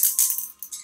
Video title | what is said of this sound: Unite Product Knowledge Certificaton | when you hear that ball rolling that means all the product is getting mixed up